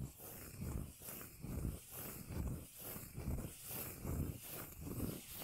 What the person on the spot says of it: the beautiful bass sounds of tapping & scratching a cork lid